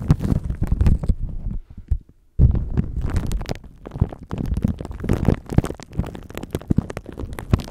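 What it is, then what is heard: Plastic wrap crinkled on a microphone. A thin clear plastic bag wrapped around a microphone is rubbed and crinkled by cupped hands and fingertips. The result is a dense, muffled run of low, thumping rustles and crinkles. There is a short near-silent pause early on before the rubbing resumes.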